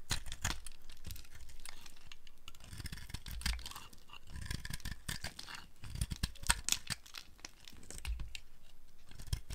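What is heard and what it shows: A dry, speckled multicolor soap ball, already partly carved down, is held and shaved with a flat metal blade, breaking off crumbly chips. Short, dry scraping and crunching strokes follow one another unevenly, with a soft tearing, crinkly texture and bright crackly edges.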